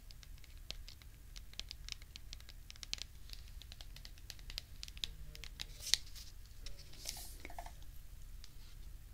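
A medium cylindrical cardboard cocoa powder canister with a printed label and a lid, hollow and held in the hands, is tapped and scratched with long red nails. Quiet, dry, bright clicks and scratchy taps come in irregular bursts over a steady low rumble, each dying away almost instantly, with one sharper tap near the middle.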